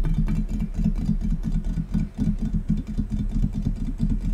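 Fingers tap rapidly and continuously on a gold metal tray, producing a dull, low-pitched patter with a faint hum around 160 Hz. Each tap dies away almost at once, with very little high-frequency ring.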